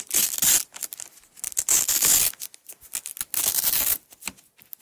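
Long nails peel a strip of small red nylon hook-and-loop tape off its roll, which rests on a black surface. Bright, crackling rips come in bursts, some long and drawn out and others short, with quiet pauses between them.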